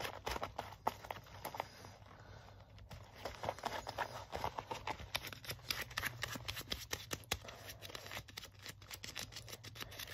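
Fingertips and nails scratch and tap the chest and the textured, distressed forearm sleeve of a worn black leather jacket. The result is a dense run of dry, crisp scratches and quick taps that stop almost instantly, over a faint steady low hum.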